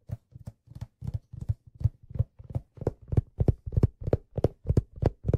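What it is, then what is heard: Leather fedora hat tapped on the crown. Fingertips tap the top of the crown of a hollow, empty black leather fedora held upright in front of the body. The result is a quick, uneven run of soft, dull, low thumps with almost no ring, growing gradually louder over the clip.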